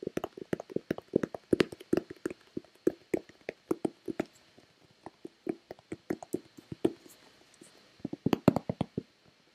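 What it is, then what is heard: Plastic lotion bottle. A hollow white plastic Nivea lotion bottle is tapped with long red-painted nails and fingertips. Quick, dry, hollow taps land in uneven flurries and pauses, each with a low body around 240 Hz and a bright click from the nails that dies almost at once.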